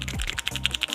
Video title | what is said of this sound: Emak² bisa...Kulkas toshiba 1 pintu mati total | pada saat Anda kocok seperti ini ada suara pasir di dalam sini ya, ini bisa dipastikan kalau misalnya relay ini somplak, relay ini KO